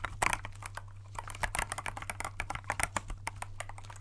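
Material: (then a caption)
Plastic. Gloved fingertips press and tap the clear keycaps of a compact transparent plastic mechanical keyboard held in both hands. The result is a rapid, uneven run of short, bright plastic clicks and clacks that die away almost instantly, over a steady low hum.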